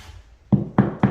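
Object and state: Hollow drywall ceiling with no beam.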